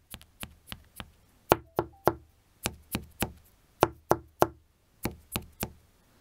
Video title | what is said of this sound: Crafting a HUGE PAVISE Shield Only With AUTHENTIC materials | on wrong spots you can see there's basically no difference in the Optics but it sounds like this